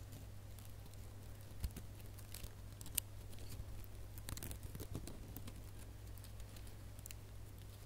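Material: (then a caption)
Plastic. Fingernails scratch and pinch the loops of a small red metallic plastic ribbon gift bow held up close, giving quiet crinkling, tearing-like rustles and bright, brief ticks. A steady low hum runs underneath throughout.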